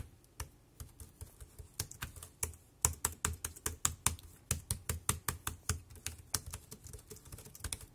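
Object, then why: Plastic wireless keyboard. Fingertips type on the round keys of a compact dark grey plastic Bluetooth keyboard with a hollow body, resting on a black plastic bag. About two dozen quick, unevenly spaced taps are heard, each a crisp bright click over a low hollow thud that dies away almost at once.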